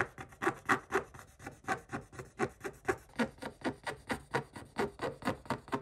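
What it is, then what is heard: Scratch-art paper being scraped. A pointed wooden stick scrapes the black coating off a flat coated paper page in a spiral-bound scratch-art book, leaving visible flakes. About 21 short, dry, rasping strokes come in a quick, uneven rhythm, each a brief scratchy burst centered in the mid range with little low end and almost no ring.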